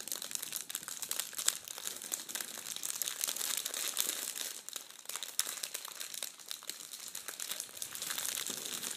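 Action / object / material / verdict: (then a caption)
scrape / metallic foil tissue paper / foil paper / none. Red metallic foil tissue paper is bunched and crumpled in both hands, making a steady, dense crinkle for about nine seconds. The sound is bright and papery with almost no low end, made of rapid crackles with a few sharper snaps.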